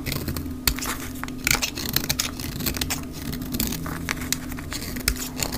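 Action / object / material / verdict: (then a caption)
scrape / soap bar shaved with a blade / soap / none. A mint-green dry soap bar is shaved along its rounded edge with a utility knife blade, its flakes falling onto a pile, sped up to twice normal speed. A dense run of bright, crackly scrapes and sharp clicks plays over a steady low hum.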